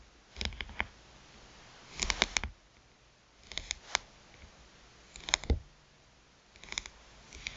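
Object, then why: Smartphone with glass screen and metal rim. Long nails tap rapidly on the glass screen of a small touchscreen phone with a metal rim, lying face up. Crisp, bright clicking taps come in short quick bursts separated by brief pauses, with each tap dying away instantly.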